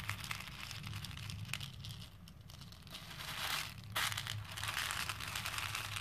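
A hand digs into a plastic bowl full of small plastic faux pearl beads and rakes them with its fingers. The beads make a dense, bright, continuous clicking and rattling that swells louder in the second half, over a steady low hum.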